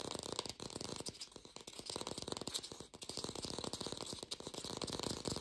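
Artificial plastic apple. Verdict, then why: Fake. An artificial plastic green apple is fast-tapped and recorded lo-fi, without a microphone. A rapid, steady stream of dry, clicky taps with a bright, rattling edge runs throughout, and each tap dies away almost instantly.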